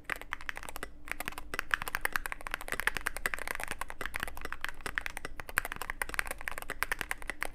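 Fingertips of both hands type continuously on a Cyberboard mechanical keyboard with plastic keycaps and a dark case. A dense, steady stream of short, sharp clicks and clacks, centered in the upper mids, plays over a low background rumble.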